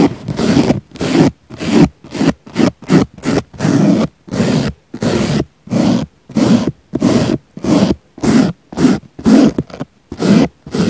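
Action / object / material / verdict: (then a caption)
scrape / soft foam sponge brushed with a small brush / foam / none. A small black brush sweeps back and forth across the surface of a round, solid, soft pink foam sponge. It makes 22 short, irregular, breathy scraping strokes, each a low, rough rasp with a bit of bright hiss, separated by near-silent gaps.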